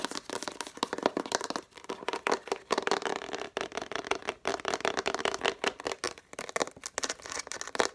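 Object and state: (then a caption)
Plastic crayon case tapped with nails. Long nails rapidly tap and scratch a hollow, transparent plastic crayon case with a Faber-Castell label, about 20 cm long. The sound is a dense run of quick, sharp clicks with a hollow, boxy resonance around 480 Hz and bright scratchy texture. There are brief pauses between bursts.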